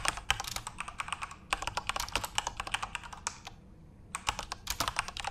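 Both hands type rapidly with their fingertips on a full-size Corsair RGB-backlit mechanical keyboard with plastic keycaps. The result is a dense stream of sharp, bright clacks with very short decay. The typing pauses briefly just before the fourth second, then resumes at the same quick pace.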